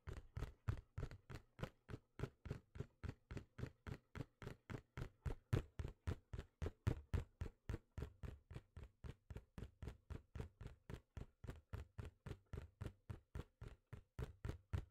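Fingertips tap and knock on a small, hollow, printed cardboard box for a computer mouse held in both hands. About 63 quick, dry, low thuds at roughly four per second, each dying away almost instantly, with a muffled hollow body around 100 Hz.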